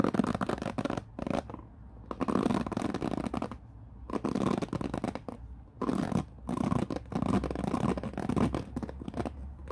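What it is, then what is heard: Plastic paddle hairbrush bristles. Fingertips sweep across the white-tipped bristles of a black plastic paddle hairbrush resting on a wooden floor. Several bursts of dense, crackly bristle scratching reach up into bright highs, separated by brief quieter pauses. A steady low hum runs underneath throughout.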